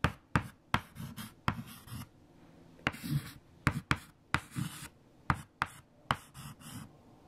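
White chalk held in a fingertip grip writes equations on a large flat black chalkboard, giving 12 sharp taps as it strikes the surface. Short, bright scratching strokes follow each tap, with quiet pauses between them.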